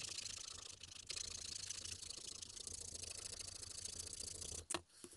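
A small, solid, pale carved wooden Tengu mask keychain is held in the fingers and filed with a slim metal needle file, sped up. The result is a quick, continuous, bright rasping scratch with a brief dip near the start. It ends in a sharp knock and then near silence.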